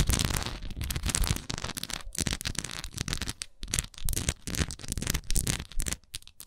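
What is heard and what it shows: A textured wax candle is scratched and tapped with long nails, making a dense run of crackly scratches and quick taps. The sound is full and low-heavy, with bright, gritty scratch texture on top and short pauses between bursts.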